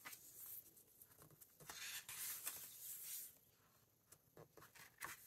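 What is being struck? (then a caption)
Hardcover book with paper pages. Fingertips flip and smooth down the mixed glossy and matte paper pages of a large open hardcover book. Bright, papery rustles and swishes come at an irregular pace, building to a longer, louder brushing sweep in the middle. The clip then falls quieter, with short crisp flicks toward the end.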